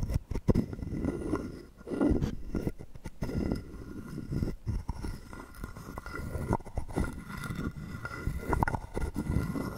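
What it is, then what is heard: Carved wooden frog guiro. A hollow carved wooden frog guiro is held in hand while a wooden stick is scraped along its ridged back. The result is a series of dull, rasping, ratcheting scrapes that come in uneven bursts. The sound is weighted toward low frequencies with very little high-end brightness.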